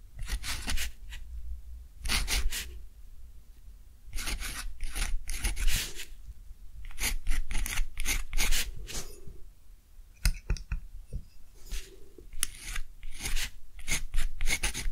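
A fine metal dip-pen nib scratches across a thick, heavily textured deckle-edge cotton paper sheet lying flat as it writes. Bursts of bright, raspy scratching come in quick, irregular strokes with short pauses between them, over a steady low hum.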